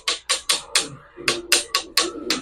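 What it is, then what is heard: Petrified wood, stone-like rather than ordinary wood. A large piece of petrified wood that has turned to stone, with crystallized areas, is tapped nine times in a steady rhythm. Each tap is a sharp, bright, stone-like click with almost no low end and a very short ring. It does not sound like ordinary wood, which shows it is petrified.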